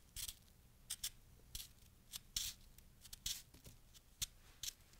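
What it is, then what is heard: Packed snow being scraped and cut. A fist-sized, solid lump of fresh packed snow held in the palm is cut and scraped with a small wooden-handled carving tool with a metal tip. About eleven short, bright, crunchy scrapes and cuts come at an uneven pace, each crisp and quickly fading over a quiet background.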